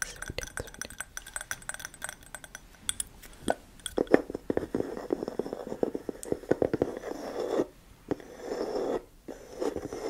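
Long nails tap and scratch the top of a flat, light wooden lid on a medium black glass candle jar filled with wax, with the jar held in one hand and fingers resting on the glass side. Quick, dry taps come in dense clusters, mixed with soft scratching that swells into brief rustling stretches.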